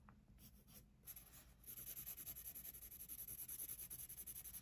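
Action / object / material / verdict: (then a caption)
scrape / paper sketchbook page / paper / none. A pencil tip shades and scratches across the page of an open paper sketchbook on a wooden desk. Soft, quieter scratching at first builds into rapid, steady back-and-forth strokes with a bright, hissy rasp over a low rumble.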